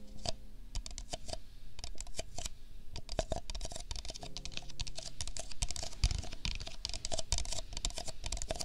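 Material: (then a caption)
Paper. An empty, hollow pink-and-white disposable paper cup is held in hand beside a binaural microphone and tapped quickly with the fingertips. The result is a steady patter of short, dry, clicky taps with a soft low thud under brief bright ticks, each dying away almost at once.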